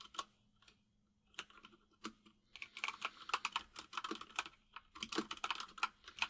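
Both hands type with their fingertips on a white full-size mechanical keyboard with plastic keycaps, resting on a desk. A few scattered taps at first give way to a fast, dense run of crisp, bright clicks, each one short and dry with almost no ring.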